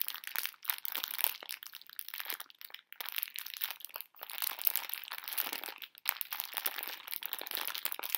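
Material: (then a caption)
Plastic film. A full pink plastic-film candy bag of conversation hearts is crinkled and squeezed with fingertips and long nails. The result is dense, bright, crackly crinkling with no low end, running almost continuously with a few brief pauses.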